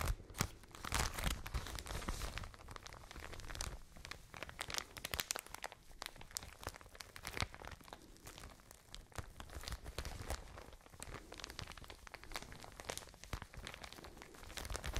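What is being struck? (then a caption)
Plastic bag of cotton wool. A plastic package of cotton wool is squeezed between the palms and crinkled close to the mic. Continuous crackling, crunching plastic is heard for the whole clip, with sharp bright snaps over a soft, low rustling body.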